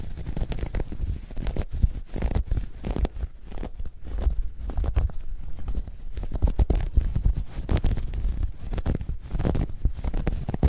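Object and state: Knitted fabric bag being scratched.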